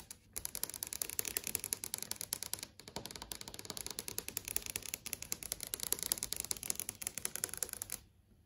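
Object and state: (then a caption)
LCD TV screen tapped with nails. Long acrylic nails tap and trace across the panel of a large flat LCD TV screen showing a channel page. A rapid run of crisp, bright, clicky taps with almost no ring plays steadily for about eight seconds, with one brief pause near the three-second mark, then stops.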